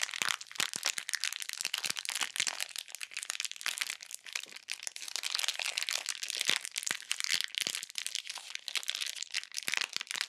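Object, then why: Plastic bag filled with bead slime. A full, flat, clear plastic bag of purple glittery bead slime is squeezed and pressed with fingertips and long nails over a pink surface. It produces a dense, steady stream of bright, dry crackles and crunches with almost no low end, and each tiny snap dies away instantly.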